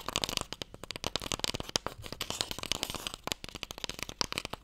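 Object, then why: Small wooden box. Long nails tap and scratch the face and edge of a closed, small, long, hollow wooden Mikado box. About 32 quick, dry taps sound in a rapid, uneven run, each with a bright, high click and almost no ring. A faint scratchy hiss runs beneath them.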